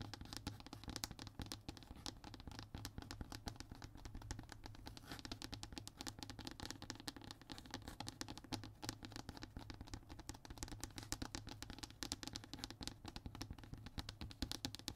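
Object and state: Hardboard (MDF) panel being scratched.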